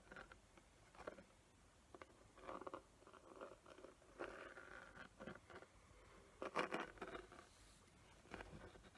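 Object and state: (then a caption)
Glitter-covered box. A small square box coated in glitter with raised glue patterns is scratched by long nails across its gritty surface. The result is quiet, uneven bursts of dry, crunchy scraping that come and go, with a few louder gritty strokes near the middle of the clip.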